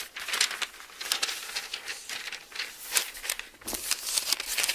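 Fingers grab and turn the thin paper pages of an open Bible, then a flat palm rubs across the page. The result is a bright, crisp crinkling and rustling in quick bursts and soft swishes, with almost no low end.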